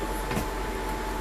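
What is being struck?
Nothing is struck.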